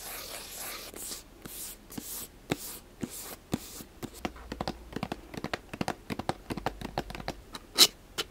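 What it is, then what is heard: Cardboard box scratched and tapped with nails. A small, hollow black cardboard gift box is held in the hands while fingernails scratch and tap its sides. Bright, airy scratching bursts in the first seconds give way to a quick run of short, dry taps and clicks that grow denser, ending with a sharper click near the end.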